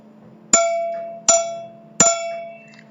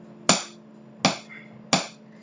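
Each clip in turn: First: aluminum part giving a metallic ring. Second: wooden table tapped with a stick.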